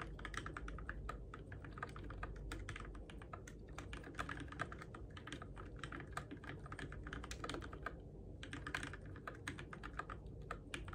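Fingertips type on a Keychron K6 compact RGB-backlit mechanical keyboard with plastic keycaps on switches, in the dark. Rapid, short, bright clacks sound in a steady stream over a low rumble, with a brief lull just before the eight-second mark before typing resumes.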